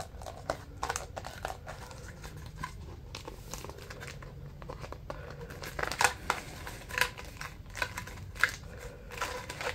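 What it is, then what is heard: Pleated paper bundle crinkling. A narrow stack of white pleated paper is scratched and squeezed along its folds by fingers and nails, giving a dense run of dry, bright crinkles over a low steady rumble. The crackles come in quick, short bursts that grow sharper and louder in the second half of the clip.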